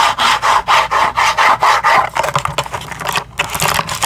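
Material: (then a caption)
Cardboard. Long acrylic nails tap and scratch a small cardboard retail package, held in both hands, with a window showing several pink bamboo toothbrushes. The first half is a steady run of rhythmic, raspy strokes centered around 1 kHz. It then breaks into faster, irregular taps and scratches with a brighter, papery edge.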